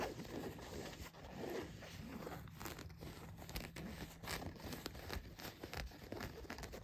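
Long nails scratch across blue denim jeans laid flat, working over the leg, back pocket and waistband. The result is a steady, quiet, rough rasping, with brief brighter scrapes standing out against a continuous fabric scratch.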